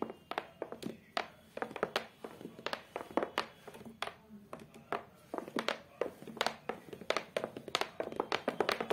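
Both hands with long acrylic nails tap on the flat, beige, cork-textured board with a black edge on the back of a photo frame. Quick, irregular runs of short, dry clicking taps die away almost instantly, with almost no low end and a bright, crisp edge. The taps come in bursts and grow denser toward the end.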